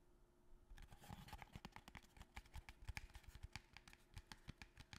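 A small, long, narrow, empty-looking cardboard box held upright in both hands is tapped with the fingertips and nails. After a brief quiet start, a quick, irregular run of short, dry taps and clicky nail scratches begins, with hollow low thumps under a faint steady hum. The tapping continues unevenly to the end.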